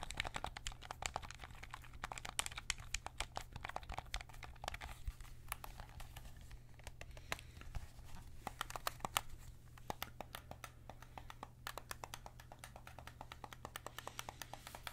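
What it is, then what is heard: Plastic game controller, button clicks. Fingertips click the face buttons and thumbsticks of a white PS5 DualSense controller, a hollow plastic controller held in both hands. A quiet, rapid stream of short, dry plastic clicks and soft crinkly taps continues throughout, over a steady low hum.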